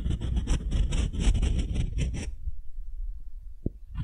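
A solid, light beech-wood ball about the size of a fist, held in one hand, is scraped and rubbed with the bowl of a wooden spoon while long nails also touch it. Quick, uneven rasping strokes with a bright, airy edge run for about two seconds, then drop to near silence with a single soft tick. The scraping starts again just before the end.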